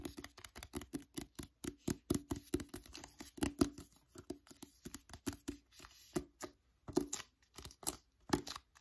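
Fingertips and nails tap and scratch the glossy card front cover of a solid paperback novel, "Wonder," held upright. A quick run of many short, dry taps with soft scratchy brushing between them. Each tap has a low, hollow tone and stops almost at once.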